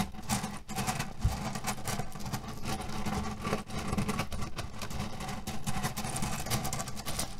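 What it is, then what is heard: Cotton pillow filled with cherry pits. Both hands press and rub a flat cotton cushion printed with cherries and filled with loose cherry pits, lying on a table, using fingertips and nails. The result is a steady, dense, low rattling crunch as the pits shift and grind, with bright scratchy fabric rustles layered on top.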